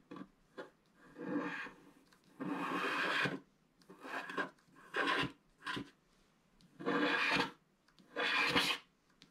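A wooden stick scratches the coating at the right side of a flat black wax-coated scratch art paper card. The result is a series of dry, rasping scratch strokes, some short and others drawn out, separated by brief pauses. The strokes have bright, high texture and almost no low end.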